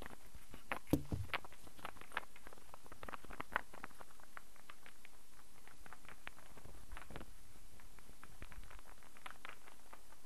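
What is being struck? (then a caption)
Wooden star burr puzzle. A solid wooden star burr puzzle is held in the hand while fingertips tap it and nails scratch across it. Soft, dry clicks and ticks come in an uneven patter, with a few sharper taps near the start, over a steady low hum and bright scratchy texture.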